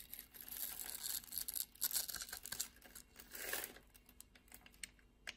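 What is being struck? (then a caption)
Bar of soap. A metal utility-knife blade scrapes and cuts across a palm-sized solid purple soap bar held in the hand, its surface pre-scored in a grid, shaving off small soap cubes. Dry, bright scraping and crisp crumbly crackles come in dense bursts, then thin out to a few sharp ticks as the cubes break away.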